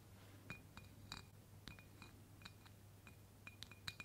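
A clear embossed glass mason jar, mostly filled with pink confetti and held in one hand, is tapped on its side with long pointed black fake claw nails worn on the fingertips. A series of quick, bright glassy clinks ring around 2.4 kHz with short decays, spaced irregularly. A steady low hum runs underneath.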